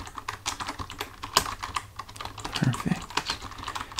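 Fingertips of both hands type on a full-size black plastic computer keyboard resting on a desk, the hands staying on the keys throughout. A steady run of quick, short clicky taps comes through, with crisp bright edges, a clacky tone around 1 kHz, and a couple of soft low thumps partway through. Each tap dies away almost at once.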